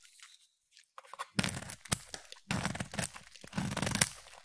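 A utility knife blade scrapes thin shavings off the edge of a solid, opaque, hand-sized orange bar of soap. Faint, soft scrapes give way to dense, crunchy bursts with a low body and a bright, crisp top. Sharp little ticks mark the strokes, separated by brief quiet gaps.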